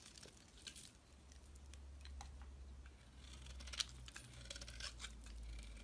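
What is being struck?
Bar of soap.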